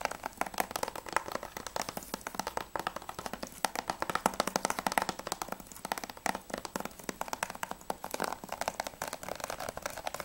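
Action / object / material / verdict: tap / plastic game case / plastic / none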